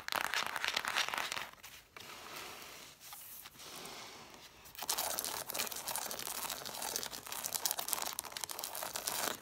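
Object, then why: Cloth-bound hardcover books with paper page edges. Long nails scratch a stack of red cloth-bound hardcover books, first along the spines and then along the page edges facing the camera. The result is a dense, bright, crackling scrape that drops to a softer, quieter rasp midway before returning loud and busy.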